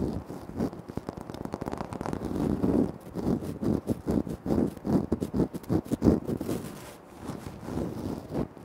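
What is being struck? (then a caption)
Speckled granite floor tile. Fingertips and short nails scratch and tap across a large, flat, solid speckled granite-like floor tile. Dense, crackly scraping comes in uneven bursts, with quick, dry taps that die away almost instantly. The sound sits mostly in the low and middle range, with little brightness.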